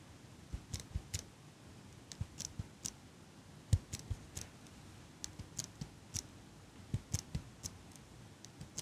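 A small chrome metal eyelash curler, held close to the mic by long pink nails, has its handles squeezed over and over so the hinged frame clicks. About twenty short, dry clicks come at an irregular pace, each a bright tick over a soft low thump, with almost no ring. They sit against a faint steady hiss.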